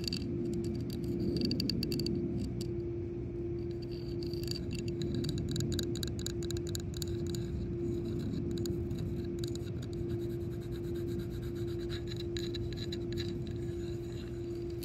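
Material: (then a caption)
Hard plastic. Long acrylic nails tap and scratch around the embossed rim and center of a yellow hard-plastic Freeglide No. 4 shuffleboard disc, about 15 cm across, solid with a recessed moulded face, lying on concrete. Quick, irregular bright clicks and scrapes run throughout over a steady low hum and a constant midrange tone.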